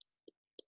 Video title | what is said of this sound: Zoom Into Nature - Get to Know Eastern Box Turtles | the shell is domed and it's nice and hard you hear that i can kind of tap on it